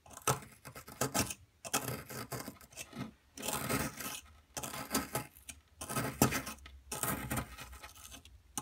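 A metal pick, held in a hand with long metallic nails, scrapes and digs into a solid blue plaster excavation block with a hollowed carving area. The result is a dense run of dry, rasping scratches in short bursts with brief pauses, bright and broadband with little ring.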